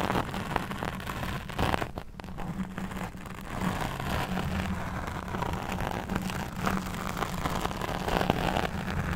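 Long nails of both hands scratch and rub a soft, porous black foam windscreen covering the head of a condenser microphone. A continuous dense, rustling scratch with a strong low rumble and a steady hum near 200 Hz carries on throughout, with brief quieter dips around 2 and 3 seconds.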